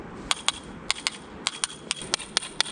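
Ten sharp, bright taps on what is likely a tile in a newly finished house. Each is a brief clack with no ring, heard over a faint background hiss. The tile gives a hollow sound, a defect left unfixed after the renovation, though this has not been confirmed by opening it up.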